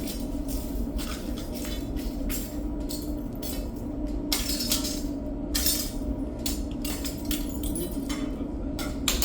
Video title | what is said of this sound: how lava works explained (lavashow part 2) | It sounds like glass because I am breaking glass.